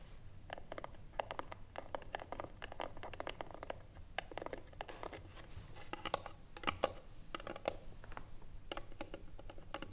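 Long nails tap rapidly across the top of the lid of a small, hollow wooden box with a metal clasp, lying flat. The sound is a steady stream of short, dry, clicky taps with a mid-range knock and almost no ring, over a low background hum.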